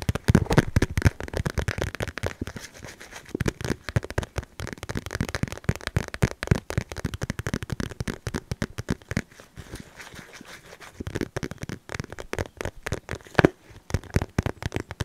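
A small, soft cream polka-dot cotton fabric pouch is held close to the mic and scratched and rubbed with the fingertips. The result is a steady stream of dense, crackly scratching made of many short, sharp bursts, heavy in the lows and dying away almost instantly. The sound briefly eases around the middle and then picks up again toward the end.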